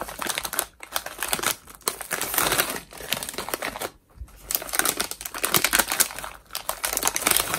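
A small, mostly emptied Cheetos bag of metallized plastic is held in both hands and waved, shaken and crumpled with the fingertips. It makes bright, dense crinkling in bursts separated by brief pauses, with almost no low end.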